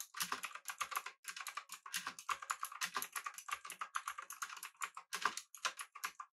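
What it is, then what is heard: Mechanical keyboard with round plastic keycaps. Fingertips type continuously on a pink-backlit mechanical keyboard with an aluminum body and round plastic keycaps. A rapid, steady stream of crisp, clacky keystrokes is heard, each one short and dry with a mid-range tone centered around 1.2 kHz and a bright top. The strokes cut off quickly with almost no ring or low end.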